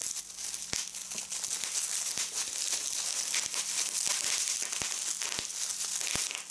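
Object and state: Plastic bubble wrap.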